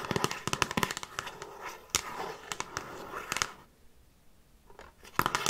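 Long nails tap and scratch the front and top edge of a handheld Frasier season DVD box set, a hollow box with discs inside and a glossy printed cardboard slipcase. A rapid run of sharp, dry, bright clicks and scratchy rustles with very little ring is followed by a near-silent pause, then a final burst of taps.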